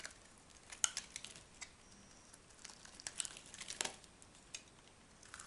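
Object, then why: Bar of soap cut with a small metal knife. A solid, dry orange-and-white striped bar of soap is held in the hand and scraped or cut with a small metal knife, with shavings piling up below. Quiet, dry, crisp crackles and short scraping ticks come in uneven bursts. The sound is bright, with almost no low end and no ring after each cut.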